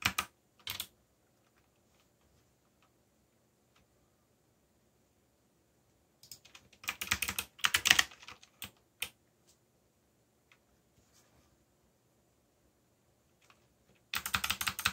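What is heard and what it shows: Fingertips type on a backlit mechanical keyboard with black plastic keycaps, pressing the keys in short bursts separated by long quiet pauses. The key presses are quick, bright, clicky taps with almost no ring, clustered at the start, in the middle and at the end.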